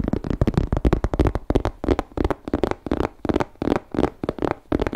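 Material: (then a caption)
Leather. Fingertips tap and scratch a small grey croc-embossed leather crossbody bag from MK with a flap, held in both hands. A quick run of about 18 dull, low thuds comes with soft scratchy rustling between them, each tap dying out almost at once with no ring.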